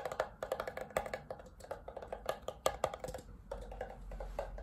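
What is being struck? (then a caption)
Paper coffee cup. Fingertips tap quickly on the flat white paper base of an empty red Tim Hortons disposable paper cup held upside down. The hollow cup gives short, dry, knocking taps with a mid-pitched resonance. Near the end the tapping softens into a steadier, quieter rustle as the cup is held up.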